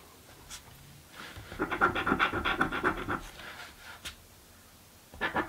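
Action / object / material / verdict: scrape / paper scratch-off lottery ticket / cardboard / none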